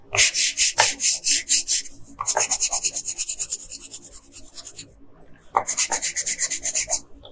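A yellow colored pencil is rubbed in quick back-and-forth strokes across a flat paper coloring page near the head of the drawing. The result is a bright, dry scratching hiss in three bursts with short pauses between them.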